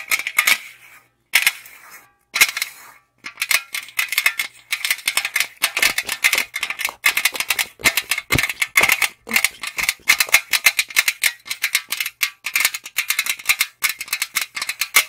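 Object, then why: Aluminum drink can tapped and scratched with fingernails. Long acrylic nails tap and scratch quickly along the side of a tall, hollow aluminum Monster energy drink can held in both hands. The result is a steady stream of dry, crisp clicks and scrapes with a bright metallic ring centered near 2 kHz and almost no low end. The stream pauses briefly twice early on, then continues unbroken.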